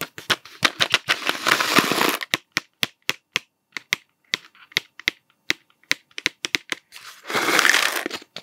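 A hollow cardboard Smarties candy tube with a blue plastic cap is held upright, then horizontal, and tapped with the fingertips. It gives dozens of short, dry, bright taps at an irregular pace, each dying away almost at once. Two stretches of steady, hissy crinkling noise run under the taps at the start and near the end.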